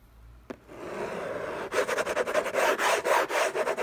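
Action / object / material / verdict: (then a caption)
scrape / paper-covered cardboard box / cardboard / none. Fingertips and short nails scratch the lid of a closed, long rectangular orange cardboard Hermès gift box covered in textured paper, lying on a fluffy blanket. A faint tick is followed by a soft, steady rub, then rapid, fairly regular scratching strokes about four per second that sound dry and papery, centred in the mids.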